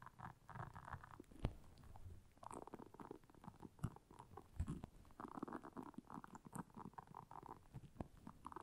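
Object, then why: Silicone scrubber pad with soft bristles. Long nails scratch across the soft bristles of a round, flat, blue solid silicone scrubber pad lying on black fur. The result is a quiet, low, rubbery rumbling and scratching in uneven bursts, with a few sharper soft pops.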